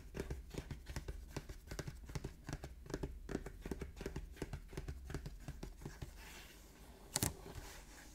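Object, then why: Printed cardboard box. Fingertips and nails tap and scratch the top of a Pokémon Elite Trainer Box, a medium-sized hollow printed cardboard box, possibly still shrink-wrapped, lying on a wooden table. A quick run of short, dull, low-heavy taps fills the first six seconds, then settles into a quieter, airy scratching. One sharp, bright tap lands near the end.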